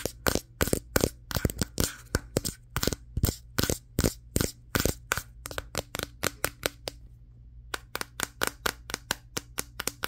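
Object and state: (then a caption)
Glass-backed smartphone. A Samsung Galaxy S23 with a matte glass back is held in both hands and tapped with fingertips and nails on the back near the camera lenses. About 39 short, sharp, bright clicks come in quick, uneven bursts, with a brief pause near the seven-second mark. Each tap dies away almost instantly over a faint low hum.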